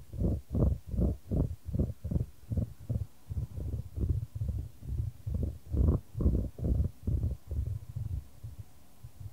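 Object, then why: Small dry wood chips in a wooden bowl. Small dry wood chips in a wooden bowl are stirred and scooped with a wooden spoon while a gloved hand holds the bowl. About 21 soft, muffled scraping and rustling strokes come in a steady rhythm of roughly two per second. Each stroke is low, dull and short, with almost no bright content.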